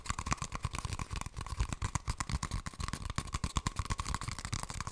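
An empty, hollow brown cardboard toilet paper tube is held upright and tapped quickly with long nails. The result is a steady stream of short, dry clicking taps with a low hollow thump, a faint ringing tone near 1 kHz and bright clicky edges.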